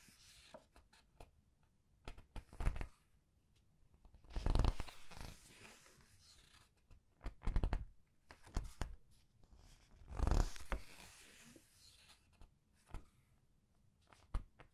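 Fingertips with long red nails lift, slide and turn single glossy printed paper pages over the stack of a large open hardcover art book. Soft papery swishes and crinkling rustles swell with each turn, mixed with small crisp ticks and taps, with quiet pauses between them.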